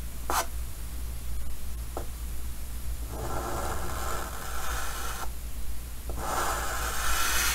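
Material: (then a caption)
Chalk. A white chalk stick held by the fingertips draws slow line strokes on a large, flat, dark green wooden-framed chalkboard, drawing a Pikachu. Brief chalk ticks come first, then two long, dry, scratchy strokes with a midrange rasp over a steady low hum.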